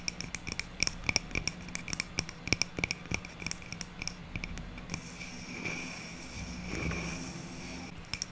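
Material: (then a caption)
Wood. Long nails tap quickly and sharply on the top face of a hand-held stack of small, solid round wood slices with bark and twine, making bright, dry clicks. Around the five-second mark the tapping gives way to a softer, hissy scratching across the wood, then a few final taps close the clip.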